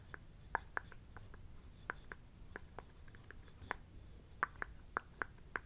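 A thin wooden stick, like a chopstick, traces and scratches lines along the pattern of a shiny satin-like robe fabric in blue with a pink floral print, laid flat and held down by a hand. Short, sharp, dry scratching ticks sound at an uneven pace, with a mid-pitched tone over a faint low rumble.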